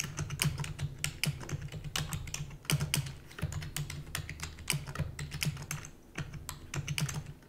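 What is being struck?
Plastic computer keyboard.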